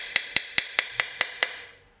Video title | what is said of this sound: 본인 자전거에 카본 1 이라도 있다면 무조건 봅니다ㅣ카본자전거 기본관리 | 지금 이렇게 비슷하게 소리들이 들리죠. 이런 부분들을 통해서 우리가 스스로 카본 프레임들의 상태를 체크를 해 볼 수가 있겠는데요.